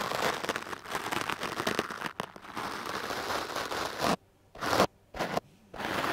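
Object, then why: Foam microphone windscreen brushed with a bristle brush. A foam microphone windscreen is brushed with a wooden-backed hard bristle brush, making dense, scratchy, crackling sweeps that run almost continuously for about four seconds. These are followed by three separate short sweeps with near silence between them. The sound is broadband and bright, with little low end.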